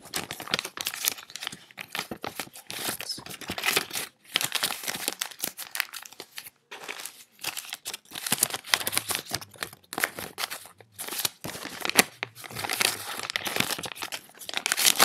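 Small bundles of crumpled US dollar bills are crinkled and squeezed in both hands with fingertips and long nails. Dense, dry crackling and crisp rustling come in bursts with brief pauses between them. The sound is bright and papery with almost no low end.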